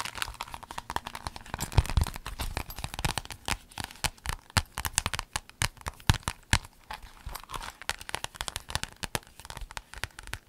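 A folded rainbow clear vinyl pencil case is squeezed and crinkled by hand with long nails. It gives dense, rapid crackling and crinkling with sharp, dry snaps, many short clicks spread across the whole clip with almost no ring.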